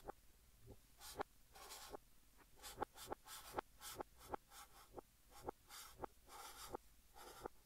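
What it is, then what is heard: Chalk writing on a chalkboard. A blue chalk stick held in the fingertips writes text on a large, flat green chalkboard. Soft, breathy scratching strokes alternate with short, sharp clicks as the chalk taps and drags across the board. The strokes have a hissy, bright texture.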